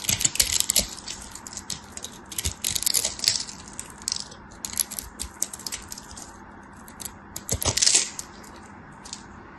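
A craft knife blade scrapes scored cubes and crumbles off a solid green bar of soap that is already partly carved away. Bright, crisp crackling and clicking scrapes come in bursts, loudest at the start, around the middle and again near the end, with quiet crumbly ticks between them.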